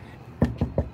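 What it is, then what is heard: Metal-skinned foam wall panel. Three knocks on a foam wall panel skinned with metal on both the inside and outside, part of an 8 by 24 foot foam house. Each knock lands as a short, dull thud with most of its energy low, near 240 Hz, and it dies away almost at once with little ring.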